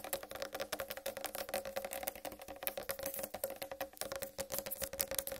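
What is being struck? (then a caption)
Whole watermelon rind. Long red-painted nails tap rapidly on a large whole uncut watermelon with a green striped rind. The quick, dry clicks carry a steady hollow tone around 555 Hz with bright nail ticks on top, and each tap dies away almost instantly.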